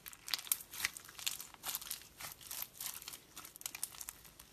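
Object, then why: Clear slime packed with plastic pearl beads and gems. A hand-sized lump of clear glitter slime packed with pastel plastic pearls, flatback gems and beads is pressed, folded and squeezed on a white surface by fingers with long pink metallic nails. It gives a quiet, bright, crunchy crackle of rapid sharp clicks and crinkles with almost no low end, each snap dying away instantly.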